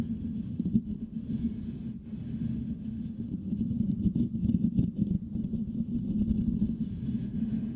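Fingertips of both hands scratch the hollow metal mesh grille of a Blue Yeti microphone, producing a dense, low rumbling scrape. Rapid, irregular scratches center around a hum near 230 Hz and swell louder toward the middle and end of the clip.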